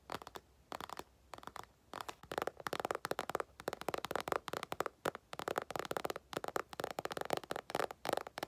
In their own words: 4:28 tapping on empty makeup bag